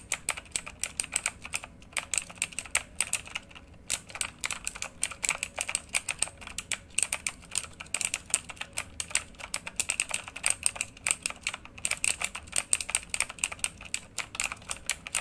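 Both hands type rapidly with their fingertips on a full-size, backlit RGB mechanical computer keyboard with plastic keycaps on a hollow housing, lying flat. A steady stream of short, bright clicks and clacks comes with very little low end and brief pauses between bursts of typing.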